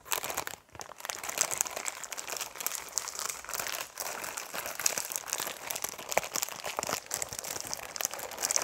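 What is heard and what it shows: A Dove six-bar soap multipack in a paper/film wrapper, full of solid bars, is held in both hands, squeezed and scratched with fingernails. This produces steady, bright crinkling and crunchy scratching throughout, with a brief pause near the start.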